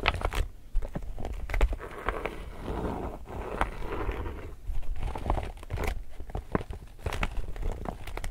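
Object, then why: Laminated polypropylene tote bag. Fingertips and nails crinkle and scratch the surface of an empty, glossy, illustrated laminated polypropylene tote shopping bag. The result is a continuous stream of soft crinkling and scratchy rustles punctuated by sharp, brief crackling snaps. Most of the sound's energy sits in a dull low rumble, with little high-end brightness.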